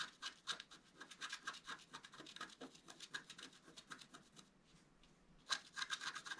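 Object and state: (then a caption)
Scratch art card being scratched. A wooden stylus scratches the black coating in the central area of a flat scratch art card of black coated paper held in one hand. Quick, uneven, dry scratching strokes come about four per second, bright and hissy with a faint high tone and almost no low end. After a brief quiet pause near the end, the scratching resumes with a sharper, louder stroke.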